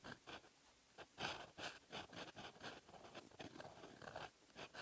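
A metal fountain pen nib scratches across the lined paper page of an open notebook, writing in red ink. Short, bright scratchy strokes come in bursts with brief pauses between them, each with a dry papery rasp and little low end.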